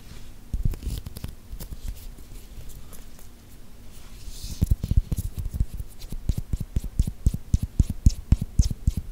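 Long painted nails tap and scratch along the bumpy skin of a whole, solid green cucumber held right at the microphone. Soft, quiet scratching gives way to a quicker, uneven run of dull, close, bassy taps that thump briefly and stop dead, over a faint low hum.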